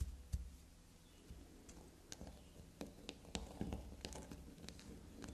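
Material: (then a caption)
Soap. A small, solid carved black soap bar resting on a fabric surface is tapped and scratched with long, glossy black nails. Quick, irregular clicks and soft scratches sound over a low rumble, and each tap dies away almost instantly.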